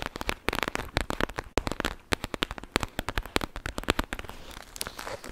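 A clear plastic gel bead bag filled with beads is squeezed and crackled with long nails, producing a rapid series of sharp, dry crackles and clicks across a wide bright range. The crackles come in quick bursts, then settle into a softer, denser crinkling toward the end.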